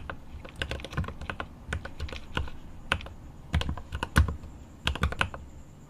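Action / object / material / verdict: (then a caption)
tap / mechanical keyboard, plastic keycaps in an aluminium case / plastic, aluminium / none. Both hands type with their fingertips on a 75% mechanical keyboard with an aluminum case and plastic keycaps. Quick, irregular bursts of short, deep clacking keystrokes are heard, with brief pauses between runs. Each keystroke dies away almost instantly, and a faint high tone runs underneath.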